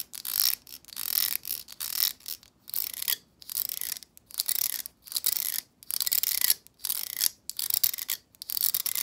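Long acrylic nails strum the rows of plastic bristles on a black plastic hair brush. Each stroke gives a dry, bright, crackly rasp, and the strokes repeat in quick bursts separated by short silences, with no low end.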